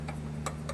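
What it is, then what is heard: Seated table saw throat plate, no rattle. Light taps on the throat plate of a Ridgid TS3650 table saw, after its leveling screws were adjusted with an Allen wrench, give short, dry clicks over a steady low hum. The rattle is gone and only the taps are heard; the plate sits seated and flat with no gap under a straight edge.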